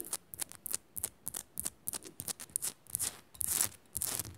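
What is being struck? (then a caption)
Rock-salt crystal lamp. Long nails rapidly scratch the rough, flaky surface of a small, solid pink Himalayan rock-salt crystal lamp. The result is quick, uneven bursts of bright, hissy scraping with almost no ring, building to a longer, denser scrape near the end.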